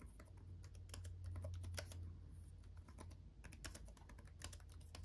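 Both hands type fast with their fingertips on a black laptop keyboard with RGB backlit plastic keys, producing a rapid, uneven stream of bright, short clicky taps. A steady low hum runs underneath the typing throughout.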